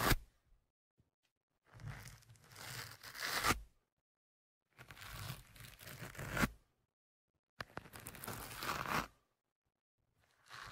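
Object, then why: Foam microphone windscreen scratched with a thin metal pick. A thin metal ear-pick tool scratches and pokes into the soft, porous black foam windscreen over the left studio microphone. Loud, close, rough scratching and crackling comes in three long bursts separated by silence, with a brief sharp scrape at the start and another burst beginning at the end. The sound is broadband, with a deep muffled thump underneath and a bright, papery crunch on top.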